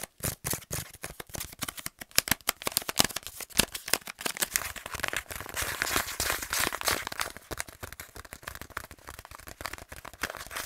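A kraft paper pouch is crinkled and scratched with the fingernails, giving a dense run of sharp, dry crackles and scrapes. The sound is bright and crisp with little low end, with each crackle ending almost at once.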